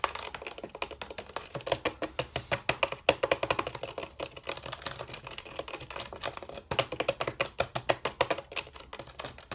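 Fingertips and nails tap and scratch the hollow bamboo rails of a bamboo chair frame in fast, dense bursts of sharp, dry clicks. A woody tone sits near 555 Hz under bright scraping texture, and each tap dies away almost instantly.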